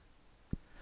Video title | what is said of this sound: Apple iPad Air Review | a very slight distance between the glass and the display itself. This produces a cheaper hollow sound when you tap on it.